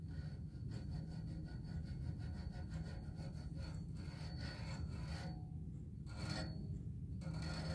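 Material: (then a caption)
Metal. Fingertips and nails scratch and tap along the vertical hollow tube of a black metal music stand, its textured black coating giving a steady, low rasping rub. Faint light taps sit within the continuous scratching, with little high-frequency ring.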